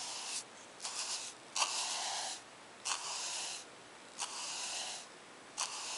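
A bristle paint brush is stroked back and forth across a page of a spiral-bound lined paper notebook resting on a wooden table. Each stroke makes a soft, bright, airy swish with a slight scratch at its start, separated by short quiet gaps.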